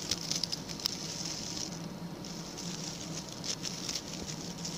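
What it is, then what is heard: Coconut coir bristle brush, scratched. A small, round, ring-shaped brush of stiff brown natural coconut coir bristles with a center hole is held in the hand. Its bristle tips are scratched first with fingernails and then with a pink plastic tool. The result is a soft, steady, bright patter of dry scratching with short, crisp flicks, and a faint low hum sits beneath it.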